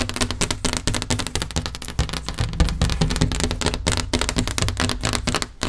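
A large, flat, wall-mounted solid headboard panel with a grey wood-grain laminate finish is tapped and scratched with long painted nails of both hands. Rapid, dense clicking taps and scraping mix with a steady low rumble, giving short, dry strikes with broad bright edges over a heavy bass.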